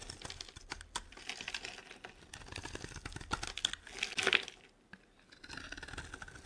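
A solid, dry pink Duru soap bar held in the hand is shaved with a utility knife blade, giving a rapid run of crisp, bright scraping and cutting ticks. The shaving builds to a louder, harsher scrape just past four seconds, drops to near silence for a moment, then resumes with softer, steadier scraping.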